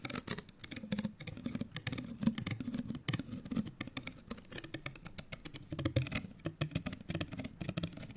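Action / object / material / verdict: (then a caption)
scrape / folded paper card hang tag / paper card / none. A small folded, printed paper card hang tag is held close and scratched with long nails. It makes a dense, rapid run of dry scratches and clicky taps with a soft papery body and bright crackle, each sound cut off almost at once.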